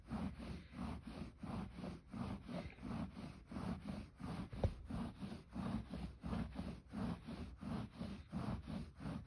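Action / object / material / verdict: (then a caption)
scrape / fleece blanket / polyester fleece / none. Fingertips scratch and rub the fuzzy surface of a soft red plush fleece blanket with an embossed scallop pattern, lying flat. The result is a steady run of soft, muffled scratching strokes, low and dull, repeating at roughly one and a half per second with a slightly uneven rhythm.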